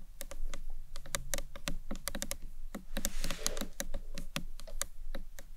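A small, closed, rectangular hollow box clutch of green marbled acrylic with a round clasp is tapped with long acrylic nails, first on its sides and then along its top edge. A quick, uneven run of sharp, bright clicks rises over a steady low hum, and each tap dies away almost at once.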